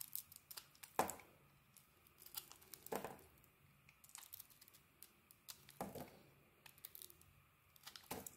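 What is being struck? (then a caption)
Bar of soap shaved with a metal blade. A metal utility blade shaves a solid, translucent, yellowish bar of soap held in the hand. The result is quiet, crisp, crackly scraping and peeling with bright edges, marked by several louder slicing cuts among irregular small crinkles.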